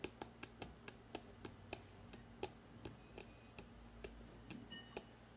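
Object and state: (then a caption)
Hardcover book spine tapped. Fingertips tap and click on the spine of a hardcover book, first held vertically and then horizontally. About 17 quick, dry, bright ticks land at an uneven pace, each dying away almost instantly over a quiet, steady low hum.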